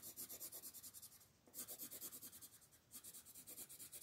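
A green wooden colored pencil makes rapid scratching strokes across the top of a flat paper coloring book page while a hand with long nails holds the page down. Quick runs of bright, high, dry scratches come in three bursts, with short pauses near 1.4 and 2.9 seconds, over a faint low rumble.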